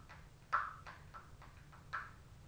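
An Anastasia Glow Kit in Sun Dipped, a gold cardboard makeup palette, is first held upright and then laid flat on a lap. Its cover is tapped and lightly scratched with long, pointed acrylic nails. The result is quiet, short, dry papery taps with a mid-range ring around 1.3 kHz, two of them noticeably louder than the rest, over a faint low hum.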